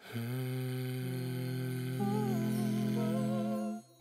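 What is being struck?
Nothing is struck.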